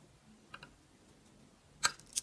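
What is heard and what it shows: A utility knife blade scrapes and shaves thin curls off the surface of a solid, round, green-and-pink bar of dry soap held in the hand. Faint, dry ticks are followed by two louder, crisp, bright scraping clicks that stop almost instantly over a quiet background.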